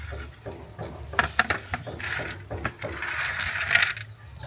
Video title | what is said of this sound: HOW TO MAKE CRUNCHY COATED PEANUTS HOW TO MAKE COATED PEANUTS AT HOME... | vous entendez le ça sonne ? c'est croustillant